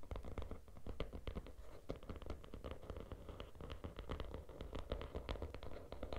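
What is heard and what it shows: Fingertips and nails scratch across the cover of a small, closed, teal glitter hardcover notebook resting on a red cloth. A dense run of quick, crackly scrapes repeats steadily, with a low, soft rumble underneath.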